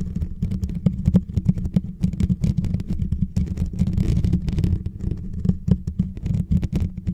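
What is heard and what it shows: Fingertips and short nails of both hands tap and scratch the hollow, rounded metal mesh grille on top of a white Blue Yeti microphone. The result is a dense stream of quick, dull taps and soft scrapes, heavy and boomy in the low end, with brief bright clicks on top.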